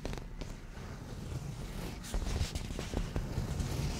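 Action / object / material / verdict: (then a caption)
scrape / padded leather cushion / leather / none. Slow scratching and soft touches with nails and fingertips on a padded black grained leather cushion. Low, muffled rubbing builds in level, with several soft, brief ticks and scrapes standing out from the steady friction.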